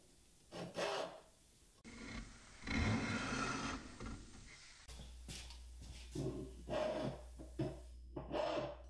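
A metal hand file or rasp, held in both hands, is rubbed and scratched back and forth across the carved ridges of a solid walnut workpiece with a scalloped profile. The piece is about hand length and clamped on a wooden workbench. The result is a series of dry, gritty rasping strokes with a woody low-mid body, separated by quieter pauses, with a longer sustained scraping passage near the middle.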